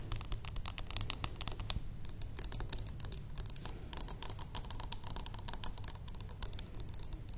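Long decorated nails tap rapidly along the sides of a rectangular, solid-walled glass perfume bottle, partly filled with pink liquid, standing on a wooden table. A steady stream of crisp, bright clicks with very short ring patters on without pause over a constant low rumble.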